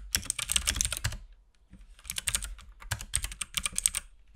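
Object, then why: Plastic mechanical keyboard keys. A compact RGB-backlit mechanical keyboard with plastic keycaps and a hollow case is typed on continuously with the fingertips of both hands. Rapid, bright, clacky key presses come in two bursts separated by a short pause near the middle, each strike dying away almost instantly over a low hollow thump from the case.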